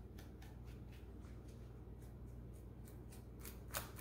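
A small thin brush, held in a rubber-gloved hand, is brushed and scratched between the keys of a black plastic laptop keyboard with a hollow body. A quiet series of soft, bright, scratchy strokes rises over a steady low hum. One sharper, louder stroke comes near the end.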